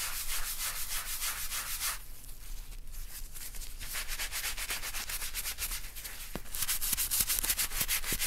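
Gloved hands scrub a small, flat, empty-looking folded black leather wallet with a round wooden-handled bristle brush and cleaning foam, working in circular strokes over the leather. The result is a steady, rapid, bright scratchy rubbing that softens in the middle of the clip and grows louder and brisker again toward the end.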